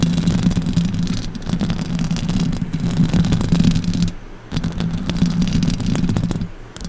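Long orange acrylic nails and fingertips scratch and tap the hollow metal mesh grille of a silver condenser microphone. The result is a dense, continuous low scratching and rubbing with a steady hum-like tone underneath, plus faint bright crackle on top. The sound briefly drops away twice, once just after the four-second mark and again near the end, before resuming.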